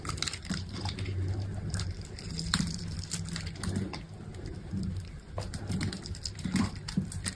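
A metal utility knife blade scrapes small cubes off a solid green bar of dry soap, cut in a grid, resting on a table. Steady crumbly scraping and crackling is heard, with sharp bright cuts and a low, dull body beneath.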